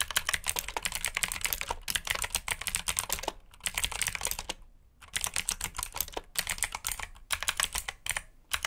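Fingertips of both hands type fast on a black backlit plastic mechanical keyboard with blue switches and plastic keycaps. Bright, crisp clicks come in quick bursts with a few short pauses between runs.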